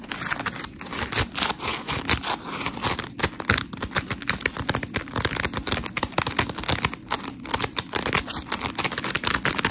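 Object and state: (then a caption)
Foam scrub sponge scratched with fingernails. Long acrylic nails scratch along the textured edge of a dry, solid, hand-sized smiley-face scrub sponge made of white and blue porous foam layers. A rapid series of short, gritty, bright scratches rises and falls steadily, with dry crackly texture and little low end.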